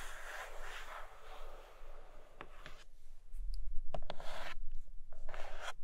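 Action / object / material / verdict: scrape / cardboard box with plastic window / cardboard / none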